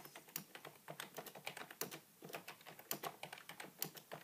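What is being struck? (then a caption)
Plastic computer keyboard. Fingertips of both hands type rapidly on a beige, full-size plastic keyboard with a hollow body resting on a wooden table. Quick, bright, clacky key taps come in a steady stream with short hollow thuds underneath, and a brief pause just after the two-second mark. Each tap dies away almost instantly.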